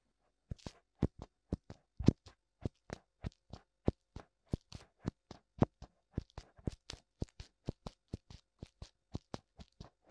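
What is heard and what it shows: Fingertips tap on both white silicone ears of a black binaural microphone, producing dozens of short, soft, dull thumps in an uneven rhythm, heavy in the low end with faint crackly upper detail. Each tap dies away almost instantly, leaving brief silences between hits.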